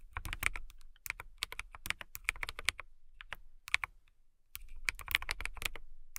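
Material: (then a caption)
Acrylic. Fingertips with long nails type on a transparent acrylic mechanical keyboard with clear keycaps, producing rapid, crisp, bright clicks that peak around 2.2 kHz with a light low thump beneath. The keystrokes come in quick bursts, with a brief pause near the middle before typing resumes.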